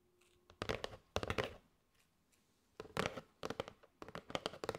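A flat kraft cardboard box with a clear plastic window, holding striped paper straws, is held in both hands and tapped and scratched with long gray almond-shaped nails. Quick clusters of dry, papery taps and scratchy rustles come in bursts separated by short quiet pauses, each tap dying away almost instantly.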